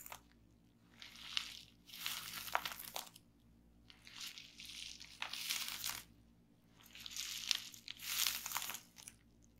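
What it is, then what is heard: Plastic bubble wrap. A flat, layered sheet of clear plastic bubble wrap lies on a table while fingertips and long painted nails of both hands press and pop the bubbles. The result is a run of bright, crinkly crunching and snapping bursts, separated by short quiet gaps, with almost no low end.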